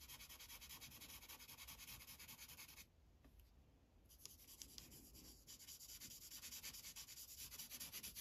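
A green Sharpie felt tip rubs back and forth across a thin white coloring page resting on a plastic clipboard while coloring. Rapid, bright, scratchy strokes run steadily, ease into a quieter stretch around the third second, then pick back up with a few sharper ticks and grow slightly louder toward the end.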